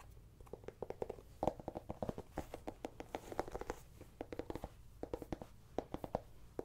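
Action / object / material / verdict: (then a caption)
tap / small whole pumpkin / pumpkin rind / none. A small, whole, hollow orange ribbed pumpkin is held in hand and scratched and tapped with long painted nails along its ribs and stem. A quick, uneven run of dry, short taps gives off a hollow midrange knock with almost no ring, between faint scratchy rubbing. The level stays quiet and close throughout.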